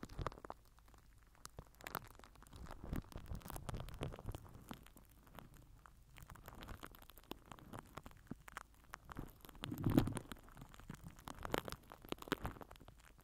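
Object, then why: Plastic wrap over a microphone. A microphone head wrapped in crinkled purple plastic film is rubbed and pressed with the end of a plastic glue stick. The result is soft, close crinkling and rustling with low, muffled thumps and scattered sharp crackles. The loudest press comes near the ten-second mark.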